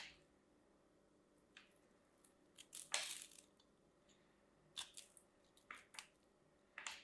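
A metal craft knife carves into the surface of a solid, hand-sized green and white striped bar of dry soap held in one hand, flaking off small cubes. A series of short, crisp, crunchy cuts with bright, scratchy texture stands out over near silence, each dying away quickly.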